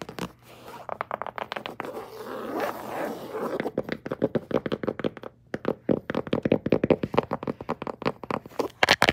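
Long jeweled nails tap and scratch across light grey woven grasscloth-style wallpaper on a large, solid, flat wall panel with a vertical seam. A raspy scratching passage over the woven texture gives way to a quick run of sharp, dry, closely spaced taps.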